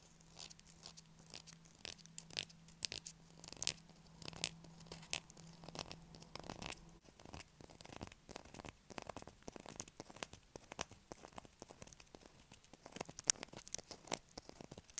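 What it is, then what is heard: Bar of soap being scratched. A solid blue bar of soap held in the hand is scratched with long nails, sending shavings down onto the table. The scratching comes as a busy run of short, dry, crunchy scrapes and taps, bright and high-pitched with little low end. A faint steady hum sits underneath for the first seven seconds.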